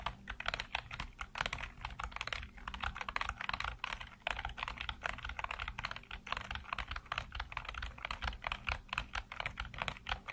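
Fingertips type on a black plastic computer keyboard with hollow keycaps, producing a steady stream of short, crisp clicks and clacks. The hits come in quick, uneven bursts with brief pauses, each one dry and ending almost instantly.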